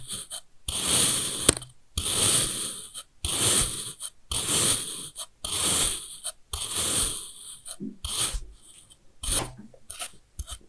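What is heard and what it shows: A steel kitchen knife repeatedly cuts thin slices from a long bar of packed kinetic sand, in its red section, beside beige pieces already sliced. Each slice makes a soft, gritty, bright crunching scrape with a faint low thud. The cuts come in a steady run with short pauses between them.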